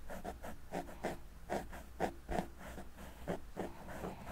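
Two wooden-handled makeup brushes, held in the fingertips, lightly brush and sweep their bristle tips across a large, round, soft, porous black foam windscreen on a microphone. The result is a series of soft, muffled, scratchy swishes at an uneven pace, dull and low-weighted with very little brightness, over a faint low rumble.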